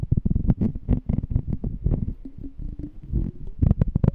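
A small, clear, empty glass jar with a checkered lid is held in both hands while fingernails tap and scratch its glass side. The result is a dense run of quick, soft, low, dull taps with a faint short ring, mixed with a brief scratching stretch in the middle before the taps return.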